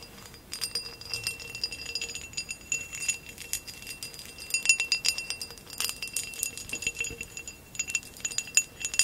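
Long acrylic nails tap and scratch the woven relief pattern of a tall, hollow, empty amber glass vase standing upright. Rapid, bright clicks and clinks mix with scratchy rattling over faint high ringing tones, with almost no low end and short, dry decays.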